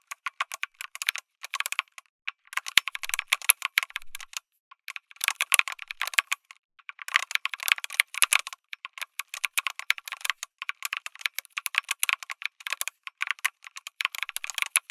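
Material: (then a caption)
Plastic, aluminum. Fingertips of one hand type on a lit mechanical keyboard with an aluminum case and plastic keycaps. Bursts of rapid, bright, clicky keystrokes with short pauses between runs, each press a crisp tick centered around 2.2 kHz that dies away almost instantly, with no low thump.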